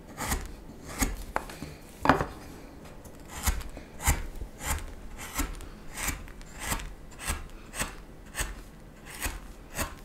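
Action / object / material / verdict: scrape / wooden spoon blank carved with a steel knife / wood / none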